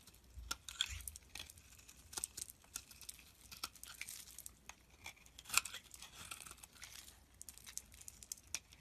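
A utility blade shaves curls off a solid rectangular bar of amber translucent soap held in the hand. The quiet, bright, crisp scraping and crackling comes as a steady run of short, sharp strokes with little low end.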